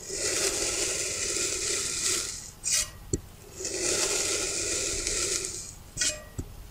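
A dark knife blade cuts straight down through a small, solid, rounded block of green kinetic sand in repeated parallel slices. Two long, bright, gritty hissing slices each fade into a brief scrape and a sharp tap as the blade finishes the cut.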